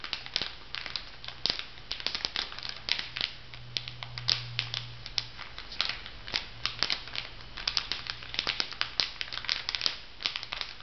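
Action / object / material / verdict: scrape / makeup sponge pack in plastic film on a paper card / plastic film / none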